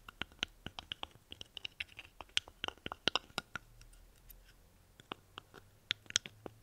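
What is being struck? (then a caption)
Dried guaje seed pod. Long painted nails scratch and rub along the dry, hollow shell of a small, thin, papery brown dried guaje seed pod held open in both hands. The result is a quick, irregular series of sharp, dry, bright crackling clicks and scrapes that stop instantly with no ring. A brief lull comes near the middle before the scratching resumes.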